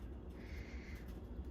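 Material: Nothing is struck.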